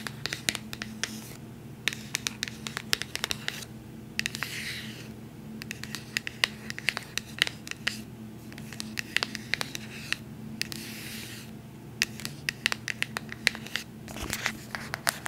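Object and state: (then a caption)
Cardboard box. Long nails scratch and tap a small, sealed white cardboard AirPods product box held in both hands. Quick, bright clicks and taps are scattered among soft, hissy scraping passes across the cardboard. A faint, steady low hum sits underneath throughout.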